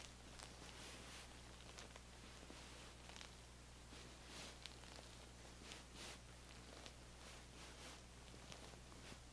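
Long manicured nails and fingertips scratch and trace along the striped, cotton-like fabric cover of a soft, stuffed feather pillow held upright against the body. The result is a quiet, continuous, bright scratchy rustle with brief swells of stronger strokes over a steady low hum.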